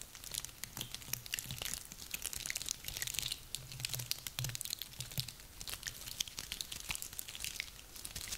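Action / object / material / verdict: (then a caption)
scrape / small woody pine cones / wood / none. Both hands squeeze and rub a handful of small, dry, woody pine cones, producing a dense, continuous stream of sharp crunching and crackling. The sound is mostly bright and high-pitched, with quick dry snaps that die away instantly and a faint low rumble underneath.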